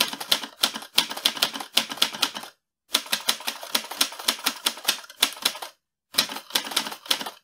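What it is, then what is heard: Metal manual typewriter. Fingertips type on the keys of a mint-green portable metal manual typewriter with paper loaded, its carriage moving as it goes. Quick runs of sharp, bright, clacky keystrokes ring briefly through the hollow mechanical body, with almost no low end. Two short silent pauses break up the typing.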